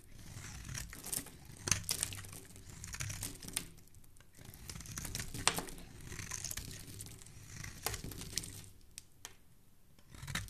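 A solid, palm-sized orange bar of soap is held in one hand while the other hand scrapes and shaves it with a black utility knife blade, producing crumbly curls. The audio is a steady, crinkly scraping with bright, dry shaving textures and a low rumble underneath, broken by occasional sharp clicking peaks as the blade catches the bar.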